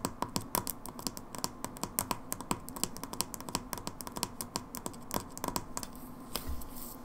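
Long nails tap and scratch on the red plastic pump head of a hand wash bottle. Many quick, bright clicks come in an irregular stream with soft scratching between them. Near the end the taps thin out, leaving a brief low thud and a faint hiss.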